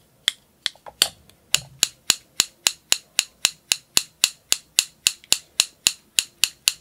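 A small blue plastic spring clothespin, held in one hand close up, has its jaws squeezed open and let snap shut with the fingers 23 times. Each snap is a sharp, bright click that dies away almost instantly; the first few come unevenly before settling into a steady, quick rhythm.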